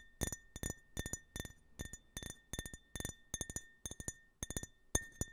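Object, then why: Small glass tumbler. Fingertips and nails tap and scratch the printed surface of a small, empty glass tumbler with a US flag print, held sideways close to the mic. Quick clusters of bright, clinking taps recur through the clip. Each tap leaves a brief glassy ring near 1.8 kHz with higher overtones that fades almost at once.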